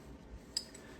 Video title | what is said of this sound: Let’s look at some rare finds from the hunts | this is a dead coin because it sounds dead. Like most of them ring when you know, when you bang them together, they ring. But this one sounds dead.